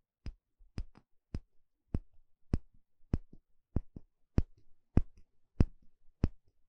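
A thin plastic pick pokes and scratches the inner surface of a small, shallow, empty bamboo bowl held in one hand. A quiet, steady series of crisp, dry taps lands roughly every half second, each with a bright click that dies out almost instantly. Faint scratchy ticks trail several of the taps.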